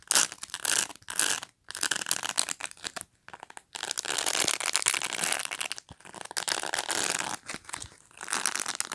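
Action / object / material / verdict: scrape / plastic pet brush bristles / plastic / none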